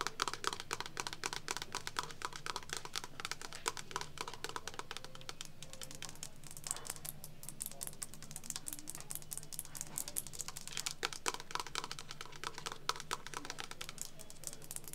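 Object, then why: Metal bathroom scale with plastic dial window. Long acrylic nails rapidly tap and scratch the clear plastic dial window and metal rim of a medium-sized, hollow vintage metal Health-o-meter bathroom scale resting on a wooden shelf. The result is a dense stream of short, sharp clicks and scrapes over a steady low hum.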